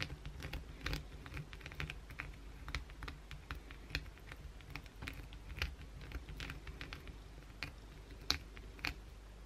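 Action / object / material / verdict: scrape / soap bar / soap / none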